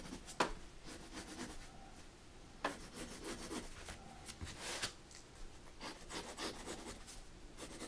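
A mechanical pencil scratches and draws outlines on the white drawing paper of a spiral-bound sketchbook, which is rotated on a dark table. Quiet, steady scratching and rubbing strokes carry a bright hiss, broken by a few sharper taps and scrapes.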